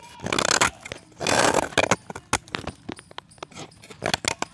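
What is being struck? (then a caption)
Pressed chalk disc. A solid white pressed chalk disc, held in dusty fingers, is scraped with a box-cutter blade. Two longer, gritty, crumbling scrapes come first, followed by a run of short, sharp scratches and clicks. The sound is dry and bright, with very little low end.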